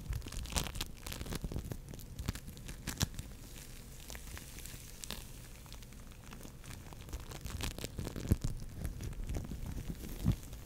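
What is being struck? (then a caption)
Polystyrene foam beads bound in slime. A fist-sized, soft but solid orange lump of foam bead clay (floam), polystyrene foam beads bound in slime, is squeezed, pulled and scratched with long nails and fingertips close to the mic. It gives a dense, steady stream of crackling, crinkly popping and tearing sounds with many short, sharp clicks over a low, muffled squish. A few louder snaps stand out.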